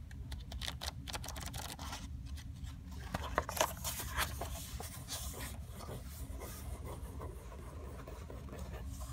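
Long acrylic nails trace, scratch and rub across the printed pages of an open paper book lying on a carpet, with some page turning. Soft, dry scratching and brushing strokes run over a steady low rumble, with a few sharper, brighter taps and rustles near the middle before the quiet rubbing resumes.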